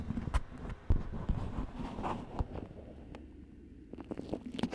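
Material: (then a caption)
Waxed cotton. A thin, stiff, yellow beeswax-coated cotton food wrap with a cardinal-bird print and pinked edges, wrapped over a microphone, is crinkled and scratched with long nails. Close, muffled crinkling and scraping are heard, dominated by low thumps and rumbles, with sharp bursts of crackle standing out along the way.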